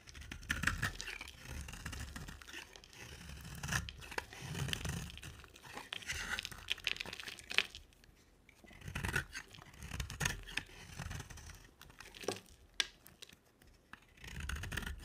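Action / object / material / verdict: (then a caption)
scrape / bar of soap / soap / none. A box-cutter blade shaves a solid, dry oval bar of green soap with a dark coated rim, held in the hand, and curls of soap fall onto a white surface. Crisp, crackly scraping comes in bursts separated by brief quiet gaps, with a dull low thud beneath each stroke.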